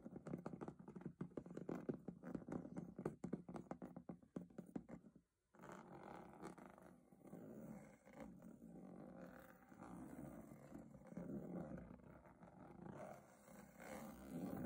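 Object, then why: Textured aluminium lid of a metal box. Long nails tap rapidly on the diamond-textured aluminium lid of a hollow metal box for about five seconds, producing dense, dull metallic clicks. After a brief pause, the nails scratch and scrape across the textured lid in a steady, rasping drone that stays mostly in the low and middle range.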